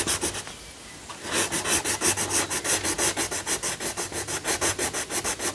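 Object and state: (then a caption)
Pencil shading on a paper colouring page. A yellow wooden coloured pencil shades a lion figure on a thin paper colouring book page lying flat, while the other hand holds the page. A few light strokes and a brief quiet pause give way to a steady, rapid back-and-forth rubbing with a bright, scratchy papery hiss.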